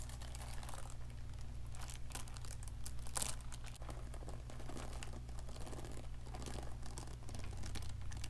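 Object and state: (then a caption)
Beaded plastic pearl handbag. Long nails and fingertips scratch and rub a small handbag woven from light-blue plastic pearl beads with flower accents and a gold chain strap. The result is dense, bright bead-on-bead clicking, crinkling and rattling, with a few louder bursts over a steady low hum.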